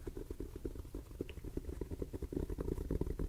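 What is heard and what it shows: Fingers tap steadily on a top hat for ASMR tingles. The rapid, soft, muffled taps are dull and low-pitched, with almost no bright high end, and each one dies away almost instantly.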